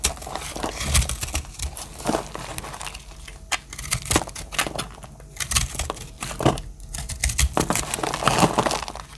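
A solid blue-green speckled dry soap bar is held in the hand and scraped and cut with a metal blade, breaking off crumbly flakes. A steady, dry, crumbly scraping and crinkling runs throughout, broken by many sharp crackling snaps of the blade biting into the bar.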